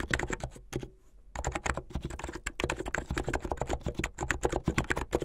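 Fingertips with medium painted nails type fast on a full-size mechanical keyboard with a blue plastic case, white, blue and yellow plastic keycaps and a white backlight, resting on a dark cloth. A rapid, dense run of short, deep clacks comes with a brief pause near the one-second mark. Each keystroke dies away almost instantly.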